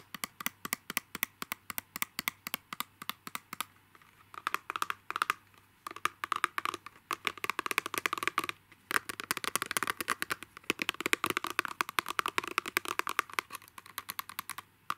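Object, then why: Clear plastic pen box. A narrow, hollow, clear plastic pen box held close is tapped rapidly with fingertips and nails. The result is a dense stream of short, dry clicks and ticks with a bright, hollow plastic tone centered around 2.4 kHz. The taps come in quick bursts with brief pauses and no ring after each tap.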